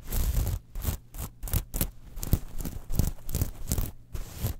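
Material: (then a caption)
Metal. Long nails scratch and tap the platelets of a small metal mesh clutch wallet lying on a fur rug. The result is bursts of bright, scratchy rustling broken by short pauses, with soft low thumps underneath.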